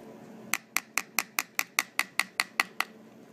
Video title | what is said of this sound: Head and Neck Anatomy - Skull Anatomy 4 Structures Passing Through The Skull | if you tap here here this is the squamous part so it's quite thin here